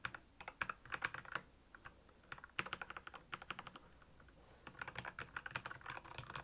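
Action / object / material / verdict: tap / plastic mechanical keyboard / plastic / none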